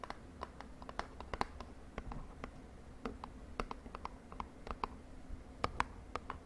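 A small purple printed cardboard cosmetic box, held in the hand, is tapped and scratched with long nails. The result is a quiet, irregular run of short, crisp taps, each with a faint hollow tone near 1 kHz, over a soft low rumble. The taps die away almost at once, with light scratching between them.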